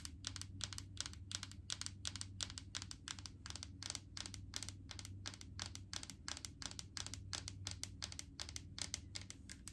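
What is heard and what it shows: Long acrylic nails tap rapidly on a large plastic jar full of solid coconut oil with a green plastic lid. The taps come as a fast, slightly uneven stream of crisp, bright clicks that die away almost instantly, over a steady low hum.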